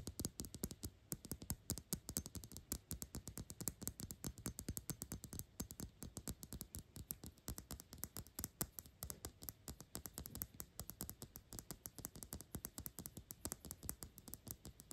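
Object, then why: Dark glass perfume bottle. The base and flat sides of a black glass Gucci perfume bottle are tapped quickly with long acrylic nails. About 110 short, dry clicks come in a fast, steady stream, each dying away almost at once with a low, hollow knock beneath the bright tick.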